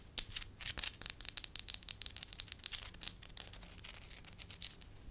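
Fingertips and long lilac nails rub, crinkle and scratch a solid beige slab of soft wax. Rapid, dry, crackling scratches and sharp clicks, almost all bright high-frequency noise with little low end. They start loud and gradually soften into quieter, steady scratching.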